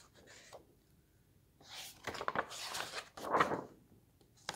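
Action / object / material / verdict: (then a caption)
scrape / paper pages of a hardcover book / paper / none. Fingertips turn and flip the white paper pages of an open hardcover book resting on a table. Soft papery rustles and crisp, bright swishes rise and fade in several bursts, with a louder sweeping flip near the end and almost no low rumble.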